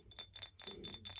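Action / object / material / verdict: tap / glass cup / glass / none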